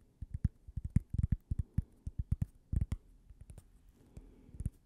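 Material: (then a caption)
Cork. A thin, solid, toast-shaped cork coaster is held edge-on and tapped along its edge and face with long purple nails. About twenty short, dull, low knocks come in quick, uneven bursts, with a brief pause before the final few softer taps. Each tap stops dead, with no ring.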